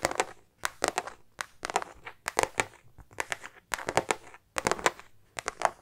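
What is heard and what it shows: A small, soft, hollow silver star-print metallic faux-leather makeup bag is held in the hand and scratched and tapped with long painted nails. The result is clusters of quick, dry, crackly clicks and scratchy rustles, centered around 750 Hz with bright edges and almost no low end, separated by short quiet gaps.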